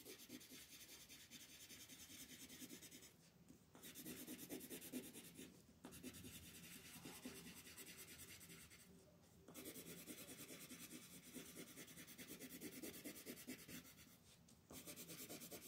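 A yellow wooden colored pencil shades back and forth across a flat white paper mandala coloring sheet held by fingertips. Its dense, scratchy rubbing strokes come in quick bursts with a bright, raspy texture, broken by a few short pauses where the pencil lifts before the shading resumes.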